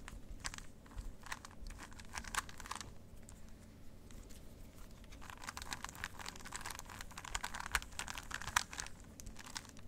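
A plastic 3x3 Rubik's cube is twisted and clicked in both hands close to the mic. Dense runs of short, bright plastic clicks and rattles come in bursts over a quiet, steady low hum. The clicking grows busier and slightly louder in the second half.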